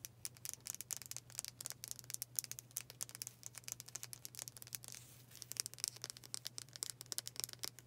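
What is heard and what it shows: Long fingernails tap fast on the solid dark wooden back and handle of a hand-sized brush with black bristles. The result is a quiet stream of rapid, sharp, bright clicks with almost no ring. A steady low hum runs underneath, and the tapping briefly softens just after the middle.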